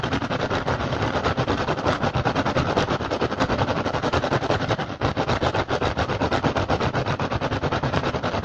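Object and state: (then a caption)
Woven rattan basket. An upturned, hollow, empty woven rattan basket is tapped rapidly with fingertips and scratched with nails using both hands. The result is a dense, continuous stream of quick dry clicks and crackly scrapes with a hollow low body, pausing briefly near the five-second mark before resuming at the same fast pace.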